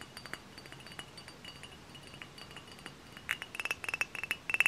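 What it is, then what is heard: Glass cider bottle tapped with fingernails. Long fingernails tap and scratch a tall, hollow, dark glass cider bottle up close. Light, bright glassy clinks ring at a steady pitch near 2.7 kHz over a faint scratchy hiss. The taps are soft and sparse at first, then grow louder and quicker in the last second and a half.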